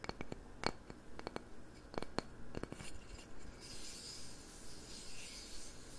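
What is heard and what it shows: A round, light-coloured, palm-sized solid wooden candle lid is held alone in one hand while fingernails and fingertips rub and scratch its grained face. About eleven sharp, dry scratches and clicks come first over roughly three seconds, then give way to a steady, soft rasping rub with a faint high hiss.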